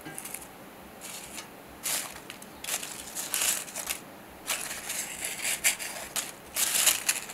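Fingertips pick up, crush and rustle a pile of dry, brittle rose and flower petals on a silver metal tray. Crisp, bright crackling comes in short, uneven bursts with quiet rustling between them, almost no low end and no ring after each crunch.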